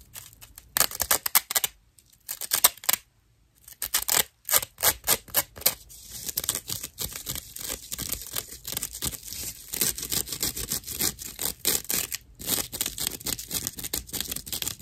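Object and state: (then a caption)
Natural loofah sponge slice. A hand-sized round slice of dried natural loofah fiber with hollow chambers is scratched with long nails. Rough, bright, crackly scratching comes in quick bursts with brief pauses early on, then settles into a steady run of rapid, dry strokes with almost no low end.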